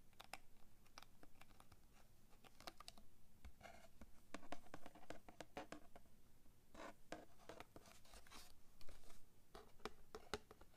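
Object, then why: Plastic blister pack on a cardboard card. Long manicured nails tap and scratch a small, hollow package of Crayola kids' scissors sealed in a clear plastic blister on a printed cardboard card, striking both the blister and the card front. The result is a quiet, quick, irregular run of crisp clicks and dry scratches with almost no ring.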